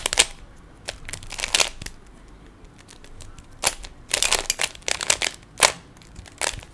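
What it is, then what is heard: Plastic puzzle cube being turned. A small solid plastic 3x3 Rubik's cube has its layers turned by fingertips, giving sharp, bright plastic snaps and clicks. The snaps come in irregular bursts, some rapid and clustered and others single, each dying away almost instantly over quiet.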